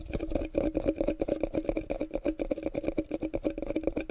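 A small hollow clear glass jar with a yellowish metal lid is held in both hands close to the microphone while fingertips and short nails tap and scratch its glass sides and lid. About two dozen quick, dry clicks and taps with very short ring follow in a steady, uneven patter. They carry a faint glassy tone centred in the mid range.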